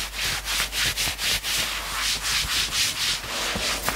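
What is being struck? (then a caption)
Knit fabric sweatshirt. Fingertips rapidly scratch the sleeve and chest of a worn knit sweatshirt. The sound is a bright, hissy rasp that swells and fades about four times a second in a loose, uneven rhythm, with almost no low end.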